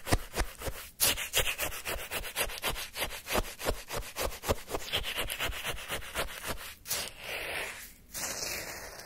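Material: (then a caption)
Ice. A wooden stick scrapes, stirs and digs into frozen orange shaved-ice sherbet in a small paper cup. The result is a fast run of bright, crunchy, gritty scraping strokes through the icy crystals, with brief pauses. It ends in a softer, steadier grinding hiss.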